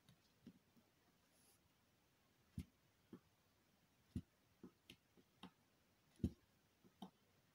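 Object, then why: Soap bar. A needle tool scratches and scores criss-cross lines into the top of a solid square purple soap bar, held flat by a hand with long green nails. The result is a sparse, irregular series of short, soft, low clicks and ticks over near silence, each dying away almost at once.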